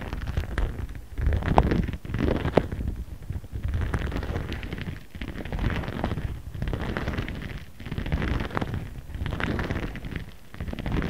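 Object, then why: Plastic zip pouch and stone face roller. A jade face roller with a ridged stone head is rolled and rubbed across a flat, empty-looking transparent pink PVC plastic zip pouch printed with cartoon characters, which lies on a cutting mat while the other hand holds it. The clip gives a steady, low, rumbling scrape with soft crackly ticks, rising and falling in repeated strokes. It stays mostly deep and muffled, with little brightness.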